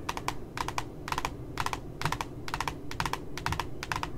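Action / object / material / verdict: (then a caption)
tap / glossy cardboard notebook cover / cardboard / none. Fingertips and nails tap at the bottom edge of a glossy cardboard notebook cover. The taps come as quick bursts of about three dry, crisp clicks, repeating steadily about every half second, each with a bright, sharp edge that dies away almost instantly over a low, steady background rumble.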